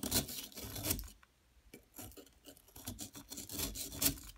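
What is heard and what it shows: A metal pick scrapes a solid yellow plaster excavation block that has long nails holding it. Bright, raspy scraping bursts fill the first second, then fall to a near-silent pause. Irregular scratchy strokes return and build to a loud bright scrape near the end.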